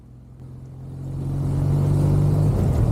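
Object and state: Nothing is struck.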